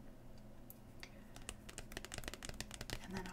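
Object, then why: Thin glossy cardboard card. A long metallic-painted nail taps and scratches the glossy printed face of a single thin Pokemon trading card (Farewell Bell) held up in one hand. Quick, irregular, bright clicks build into a denser run toward the end, with short scratchy strokes over a steady low hum.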